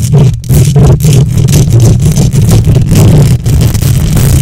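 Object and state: Metal microphone grille being scratched.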